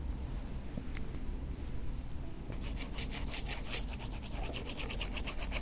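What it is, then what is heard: Stylus writing on a matte screen protector. An Apple Pencil Pro in a dark silicone grip case writes cursive across a Starlight 11-inch iPad lying flat, its glass screen covered by a matte, paper-feel plastic screen protector. After a quiet start over a steady low rumble, the stylus tip begins rapid, bright scratching and rasping strokes against the matte film about halfway through.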